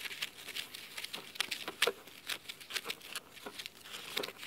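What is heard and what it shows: Fingernails scratch the cloth spine and then the top cover of a blue cloth-bound hardcover book resting on a wooden table. A quick series of crisp, dry scratching strokes is heard, bright and hissy with almost no low end, each dying away almost at once.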